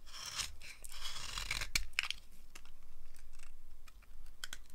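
A blade scrapes crunchy curls off a solid, dry green soap bar held in the palm. A steady, dry, bright rasping crunch runs throughout, broken by short dips and a few sharp crackling clicks. The shavings come away with a brittle, grainy scratch.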